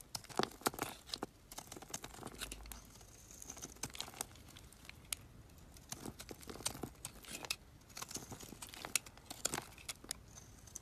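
A metal utility knife blade carves and scrapes chips off a solid black, oval, palm-sized Dead Sea bar soap held in the hand. Quiet, bright, crisp scraping and crinkly crackling comes in rapid bursts of short clicks and shavings with brief pauses between strokes.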